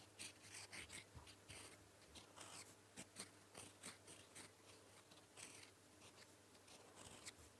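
A gold metal fountain pen nib writes blue-ink letters on a flat sheet of lined paper, heard in close-up. Bright, dry scratching strokes come in short bursts with brief pauses between them, over a faint low hum.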